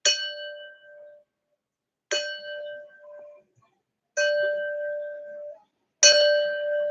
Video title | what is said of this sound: Waves 04: Resonance | the volume changes but the pitch itself the sound stays the same